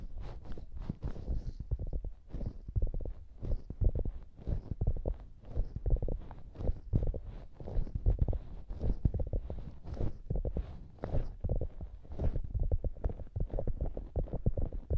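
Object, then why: Soft polyurethane foam squishy hamburger toy. Fingertips and long nails squeeze and scratch the top of a soft polyurethane foam squishy hamburger toy resting on the microphones, deforming the foam. The result is a dense, irregular stream of muffled, deep thumps and rubbing rustles, heavy in low rumble, with faint brief scratchy highs.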